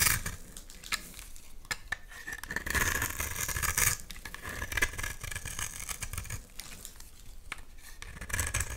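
A utility knife blade scrapes gritty shavings off the surface of a solid, hand-sized oval bar of black soap. The sound is a steady, dry, crackling scrape with bright grainy texture and scattered sharp ticks, over a faint low rumble. It swells louder in a few passes.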